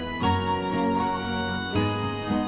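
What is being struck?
Nothing is struck.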